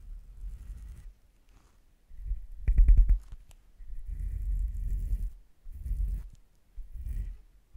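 A thin pink-tipped stick or brush is rubbed and tapped along the long, black, slotted, hollow metal body of a shotgun microphone held in a stand and clip. Bursts of deep, muffled brushing rumble alternate with short silences, and a quick cluster of sharper taps near the middle is the loudest moment. Each stroke stays low and dull, dying away almost at once with no ring.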